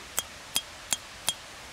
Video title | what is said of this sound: How To Make Improvised Roman Concrete (Corporal-Crete) | When I tap on it, it's got a higher pitch, just like bricks and terracotta do.